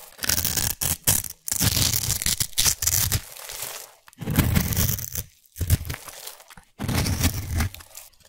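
A utility knife blade scrapes and shaves the surface of a solid, hand-sized orange bar of soap held in one hand, turning it into crumbly flakes. Dry, crunchy scraping comes in uneven bursts separated by brief pauses, with a bright, rasping hiss over a soft low rumble.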